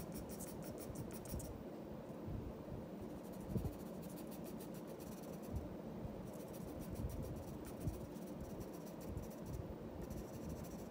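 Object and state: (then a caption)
Pencil scratching on drawing paper. The graphite tip of a black pencil makes short scratching strokes on a flat sheet of white drawing paper lying on a wooden desk, shading a lioness's body. The sound is a quiet, steady, low-heavy rasp of graphite on paper, with bursts of bright, high scratchy strokes and a few slightly louder scrapes.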